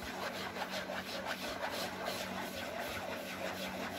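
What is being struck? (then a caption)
Paperboard cracker box. Fingernails scratch across a family-size printed paperboard cracker box, probably full. A steady, rough scratching rasp with bright, papery texture repeats in quick, uneven strokes over a faint constant low hum.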